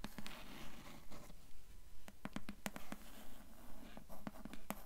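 Long nails tap and scratch on the grey cloth-covered board cover of a hardcover book. Quiet, steady taps land at a brisk, fairly regular pace, each giving a short, dull low knock that dies away almost at once. Soft scratchy rustling fills the gaps between them.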